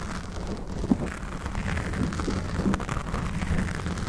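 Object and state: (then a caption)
Foam microphone windscreen being scratched. Fingernails of both hands scratch a soft, porous black foam windscreen on a Blue Yeti microphone, which is held in both hands while the face stays back from the mic. The scratching makes a steady, dense, muffled rustle and rumble that stays mostly low, with a brief louder scrape just before the one-second mark.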